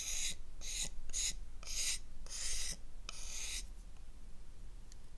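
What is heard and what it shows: A gold metal knife blade scrapes across the surface of a solid oval black bar of soap held in the palm, lifting white shavings. Six short, dry rasping strokes come in a loose rhythm, each a bright hiss with quick silences between, over a faint low hum, then the clip trails off into quiet.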